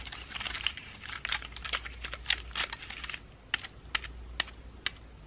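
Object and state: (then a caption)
Pine cone ornament ball tapped and scratched. A pine cone and dried flower ornament ball, made of pine cone and moss, is held in one hand while long nails of the other hand tap and scratch its woody scales. A dense run of bright, dry clicks and scratchy crackles gives way to sparser, sharp, short taps with almost no ring, over a faint low hum.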